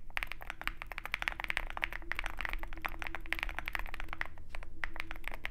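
Continuous fast typing with the fingertips of both hands on a compact 65% Zoom65 mechanical keyboard, which has a dark metal case and white and black plastic keycaps and sits on a desk mat beside a wooden wrist rest. Dense, crisp key taps with short clicky attacks center around 2.2 kHz, over a low steady hum that stays underneath throughout.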